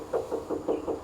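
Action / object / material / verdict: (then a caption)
knock / faux stone column, fiber-reinforced cement / fiber cement / none. Knocks on a faux stone column made of fiber and cement-like material, with rough fiber visible on the inside. The strikes ring with a short, hollow, metallic-sounding tone centered near 450 Hz rather than a dull stone thud, each decaying quickly.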